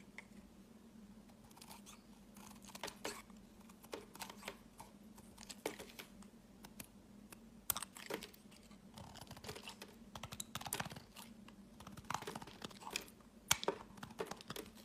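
A utility knife carves chunky flakes off a solid cream-white bar of soap held in the hand, with a green soap bar lying nearby. Quiet, crisp scraping and sharp, bright cutting clicks come in irregular bursts over a faint, steady low hum.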